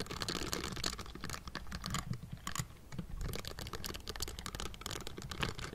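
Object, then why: Metal mesh microphone grille. Both hands in pink silicone bristle gloves rapidly tap and scratch the hollow metal mesh grille of a Blue Yeti microphone. The result is a dense, continuous patter of soft clicks and scratchy rustles, with a heavy low-end thump under bright crackly bristle noise. Each tap dies away almost instantly.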